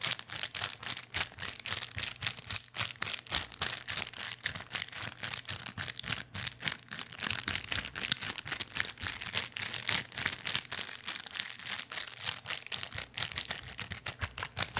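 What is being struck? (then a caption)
Small thin plastic bag. A small, empty, clear plastic bag is crinkled and squeezed with fingertips near the microphone. It makes a dense, continuous run of sharp, bright crackles and rustles with almost no low end. Each crackle snaps off instantly, with no ring.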